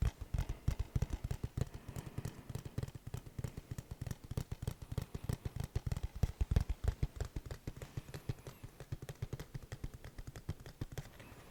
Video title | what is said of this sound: random items ASMR 💿 - tapping, tracing & rambling | It definitely sounds different than the regular case.